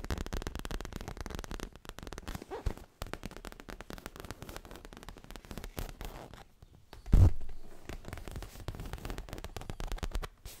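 Fingertips and medium-length natural nails tap and scratch fast across a soft, stuffed dark grey-black leather pillow held against the body, alternating quick tapping with rubbing. The result is a dense stream of muffled, low-heavy thumps and dry scratchy rustling, with one louder thud about two-thirds of the way through.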